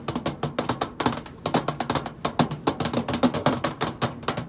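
Long acrylic nails tap on the flat side panel of a hollow stainless steel microwave casing. The result is a quick, uneven run of short, bright clicks, each with a brief hollow knock around 230 Hz that dies away almost at once.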